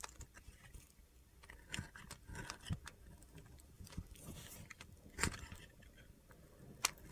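A metal utility knife blade slices and scrapes thin pieces off a solid white soap bar with orange and yellow edges, held in the hand. Soft, crisp scraping and crunchy cuts alternate with a few sharp, bright clicks over a low rumble.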